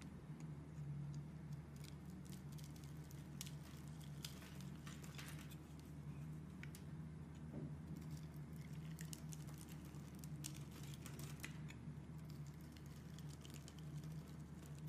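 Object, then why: Bar of soap. A box cutter blade scrapes into the scored surface of a solid rectangular bar of blue and white striped soap, held in a hand with red-painted nails, and curly soap shavings come off. Soft, quiet patter and faint scratchy ticks sit over a steady low hum throughout.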